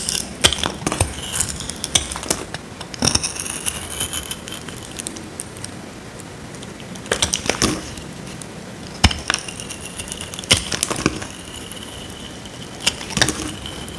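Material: Soap.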